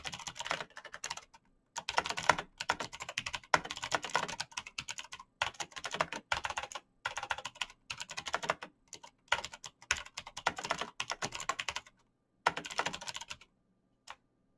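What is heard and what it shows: Bare fingertips type fast on a black plastic mechanical keyboard with clicky switches, producing sharp, bright clicks that die out almost instantly. The keystrokes come in rapid bursts of a second or two, separated by short silences, and end with a single lone tap.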